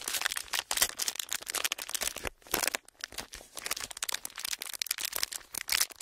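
A clear plastic packaging sheet with parallel ridges is bent and crinkled with the fingertips. Dense, bright crackling and crinkling carries on throughout, with almost no low end and only brief lulls partway through.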